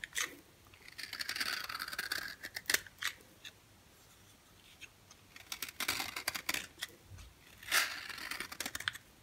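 A dry, yellow oval bar of solid soap is held in the hand and shaved with a box cutter blade. Bright, crisp scraping strokes alternate with short, sharp clicks and quiet pauses, with almost no low end.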